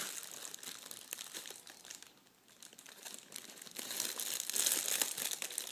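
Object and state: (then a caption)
Metallic foil wrapping paper being crinkled. A large crumpled sheet of shiny red metallic foil gift wrap is rubbed and crinkled with fingertips and palms. It makes a steady, bright, crackly crinkle with almost no low end. The sound fades briefly near the middle, then grows louder and busier toward the end.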